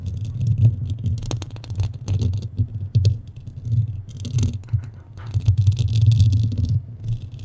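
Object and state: Foam microphone windscreen being scratched.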